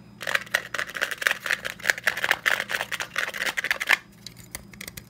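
A hand-sized desk stapler with a black plastic top and metal base, held in one hand, is tapped and scratched with the fingertips of the other hand. It makes a quick, busy run of dry, bright clicks and scratchy rustles centered around 2 kHz. The burst stops abruptly at about four seconds, leaving only a few faint ticks.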